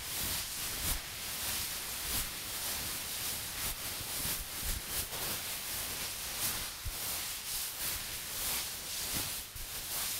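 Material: Nothing is struck.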